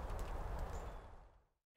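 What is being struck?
Nothing is struck.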